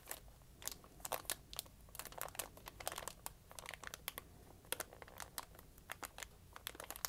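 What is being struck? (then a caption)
Folded sheet of lined notebook paper. A small folded and creased sheet of lined notebook paper, held in the hand, is crinkled with fingertips and dark-painted nails. Quick, dry, bright crackles and crunches come in irregular bursts with almost no ring, over a faint low hum.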